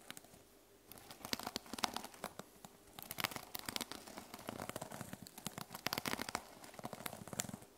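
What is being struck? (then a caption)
Notebook with plastic sequin cover. Long lilac-painted nails scratch and tap across the teal reversible plastic sequin cover of a small notebook lying on a wooden table. After a quiet first second, dense bright crinkling and rustling fills the clip, scattered with sharp clicking taps that stop almost instantly.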